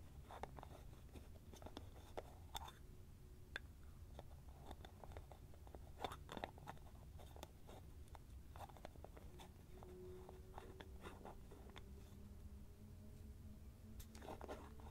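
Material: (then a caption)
Plastic. A small white plastic cream jar with an orange lid is held in both hands while fingertips twist the lid and tap the jar. Quiet, sharp clicks and taps are scattered over a steady low rumble, with faint squeaky scraping tones as the lid turns.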